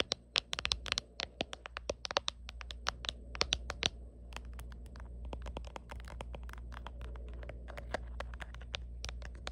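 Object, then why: Hard plastic phone case. Long painted nails tap and scratch the back of a black hard plastic phone case with a white line-art print, fitted on a smartphone held in the hand. Sharp, bright clicks come in quick clusters at first, then give way to softer, rapid scratching and lighter taps over a steady low hum.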